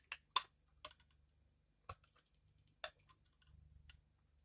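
A utility knife blade scrapes and shaves crunchy flakes off a hand-sized, solid, pale pink bar of dried soap held in the hand, with the bar turned during the stretch. Five short, bright, crisp crunches stand apart, each dying away almost at once. A soft, faint rustling follows near the end.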